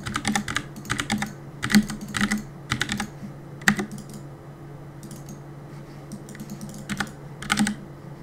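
Fingertips press the keys of a black plastic Cooler Master compact mechanical keyboard with a hollow body, resting on a wooden desk, while gaming. Quick bursts of clacky keystrokes with a hollow, low thock and bright clicks come in clusters, with a quieter stretch of lighter taps in the middle. A steady low hum sits underneath throughout.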